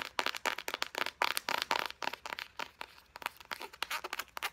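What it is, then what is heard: Plastic squeeze tube tapped and scratched. Long painted nails in both hands quickly tap and scratch a hand-sized, white and pink printed plastic squeeze tube of body butter that is hollow and apparently filled. The result is a rapid run of dry, crisp clicks and crinkly scratches with almost no ring, centered around 960 Hz with bright high edges and no low end.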